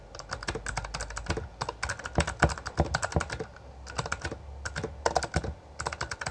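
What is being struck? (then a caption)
Mechanical keyboard with plastic keycaps. Both hands type with their fingertips on a Bloody B820R full-size backlit mechanical keyboard with plastic keycaps. The result is a rapid stream of sharp, short-lived clacks with bright edges over a low, steady hum, broken by brief pauses between bursts.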